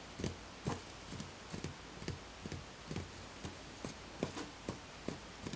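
A small speckled beige ceramic plant pot, filled with soil and a small green plant and standing on a white stack, is tapped on its outer wall with fingertips. The result is a steady series of soft, dull taps with a low body and a short bright click on each. Each tap dies away almost at once.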